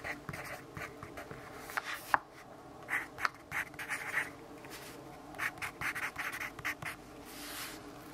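A yellow wooden pencil with a graphite tip scratches handwriting onto an open lined paper notebook while the other hand holds the page flat. Quiet, dry scratching strokes come in short bursts with brief pauses, carrying a bright papery hiss and little low end.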